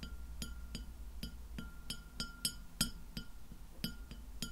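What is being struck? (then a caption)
Glass plate. Long nails tap the surface of a white glass plate lying flat behind the recorder, giving about 13 short, bright, clinking taps at an uneven pace. Each tap dies away almost at once, with a faint ringing tone, over a steady low hum.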